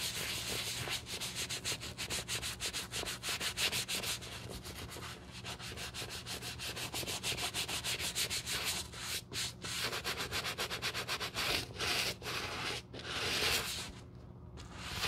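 A stiff wooden-backed bristle brush scrubs the foamy black rubber outsole of a shoe held in a gloved hand. Rapid, uneven back-and-forth strokes, about three per second, give a bright, hissy scratching. Faint breaks near the end separate a few stronger strokes.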